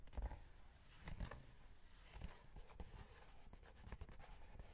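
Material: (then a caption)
Cardboard. A small, rectangular, printed cardboard box of Tongku chocolate wafer sticks, held in the hand and apparently full, is scratched and tapped with short fingernails and fingertips. Quiet, dry scratching runs throughout, punctuated by short, dull taps that die away almost instantly. The sound is heavy in low thuds, with only faint bright edges from the scratches.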